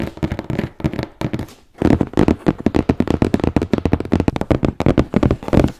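Fingertips and nails tap and scratch the top of a large, closed, hollow corrugated cardboard shipping box for a noblechairs chair, which lies on a bed with a microphone resting on top. Quick, dull, hollow taps with very short decay come in irregular bursts. After a brief quiet gap near the two-second mark, the tapping grows denser and louder.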